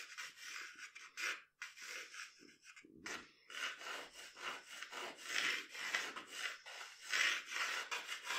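A graphite pencil is rubbed in long strokes across a flat sheet of drawing paper on a table to draw the outline of hair. The result is a soft, bright, hissing scratch that swells and fades with each stroke, with short pauses between some of them.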